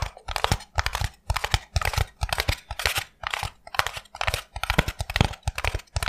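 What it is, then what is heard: Styrofoam block. A solid, brick-sized block of white expanded polystyrene foam is held in both hands and squeezed and tapped with the fingertips. It makes bursts of dry, crunchy crackling and creaking with quick, short taps. Each sound stops almost instantly, with brief quiet gaps between the bursts.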